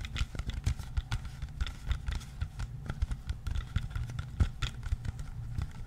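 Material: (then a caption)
Plastic. Fingertips and nails tap and scratch the label and plastic body of a clear, partly filled plastic water bottle. A quick, uneven run of short, dull taps with a deep, thumpy low end mixes with faint crackly scratching on the label, each tap dying away almost instantly.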